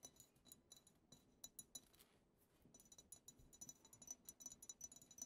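A medium frosted glass perfume bottle labeled "the bianco" is tapped on its side with long acrylic nails, producing a quiet, rapid string of bright, high glassy clinks. Each tap dies away almost instantly, with a short pause midway before the tapping picks up again.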